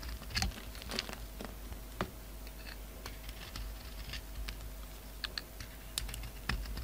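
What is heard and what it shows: A utility knife blade slices and scrapes the surface of a solid oval soap bar with a red outer layer over a black core, held in the palm. Quiet, crisp clicking cuts and bright scraping ticks come in uneven bursts over a steady low hum.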